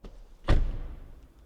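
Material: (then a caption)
Steel. The frameless front door of a Mazda CX-6e is slammed shut. A faint click is followed by a single deep, low thud that dies away quickly. The close sounds solid and really good.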